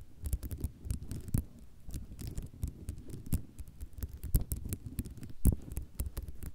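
Fast tapping with long nails from both hands on a flat sheet of small white square ceramic mosaic tiles resting on cloth. It makes a dense, continuous patter of short, dry clicks with a low rumbling body, broken by occasional sharper, brighter taps.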